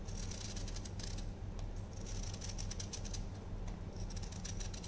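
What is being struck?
Dried baking soda block.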